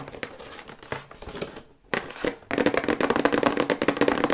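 Long white nails tap quickly on the front and back panels of a medium-sized, hollow, flat printed paperboard electric toothbrush box held upright. Light, dry taps at first, with a brief quiet pause, then turn into a denser, louder run of rapid tapping with a hollow papery resonance around 500 Hz and crisp, quickly damped attacks.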